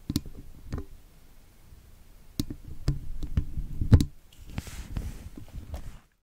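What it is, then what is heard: Steel mesh microphone grille, tapped and scraped. A thin metal pick scratches and taps along the wires of a woven steel wire mesh microphone grille, a hollow dome, heard through that same microphone. Sharp, dry clicks and knocks land with a deep, boomy low thump and almost no ring, mixed with rough scraping. A soft, bright hiss rises near the end before the sound cuts off.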